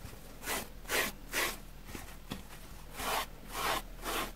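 A white plastic spoolie brush scrapes across a dusty grey porous foam sponge block, shedding dust. Six short, bright, rasping strokes come in two groups of three, separated by a quiet pause with a couple of faint clicks.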